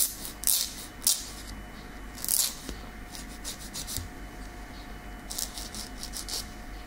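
The long, natural keratin tip of a small, solid fingernail is filed with a light grey nail file in a repeated rasping scratch. Bright, high, hissing strokes come in uneven bursts, separated by quieter scraping, over a faint steady hum.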